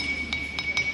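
A musical lithophone stone from Morocco is struck three times, producing bright, glassy clinks. It sustains a steady ringing tone near 2.25 kHz with a higher overtone above it, resonating with harmonics rather than just making noise.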